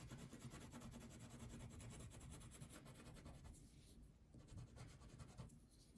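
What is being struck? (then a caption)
Wax crayon on paper sheet. A red-pink wax crayon is rubbed in quick, steady strokes across a thin paper coloring sheet lying on a table. It makes a soft, continuous scratchy rasp, mostly low in tone, with faint bright grit that fades briefly in two short pauses.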